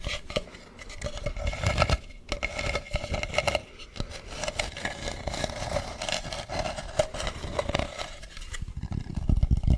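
Fingernails scratch and tap across the textured, painted ridges of a hand-carved wooden mask with a hollow back, held close to the mic. It makes a dense, continuous scratching texture broken by many quick, dry taps. The hollow back gives the sound a heavy low body and a faint steady midrange resonance.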